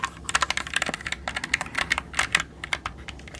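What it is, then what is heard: Plastic mechanical keyboard keys. A jade roller is rolled and pressed over the keys of a black mechanical computer keyboard with plastic keycaps, held upright. A rapid, uneven run of sharp, bright plastic key clicks sounds, each dying away almost instantly, with little low end beneath them.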